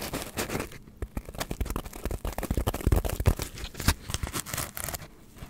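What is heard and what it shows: A hand-sized piece of white polystyrene foam is scratched with long nails while being moved around the microphone. Irregular, rapid scratchy crackles and squeaky scrapes come in short, dense bursts with a heavy low-end thump and almost no ring.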